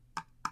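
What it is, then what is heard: Wooden box. Two taps on a handmade wooden box, built by a carpenter and once used to hold the controls for a model train set. Each tap is a short, hollow wood-block-like knock, pitched around 1.2 kHz, that dies away almost at once.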